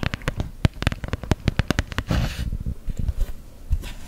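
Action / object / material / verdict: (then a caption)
tap / small printed cardboard box / cardboard / none. Long gel nails tap quickly and repeatedly on an empty, small flat cardboard box with a unicorn print, giving short, dull, low thuds. A brief scratching rasp across the box follows, then a few more taps and light scratches.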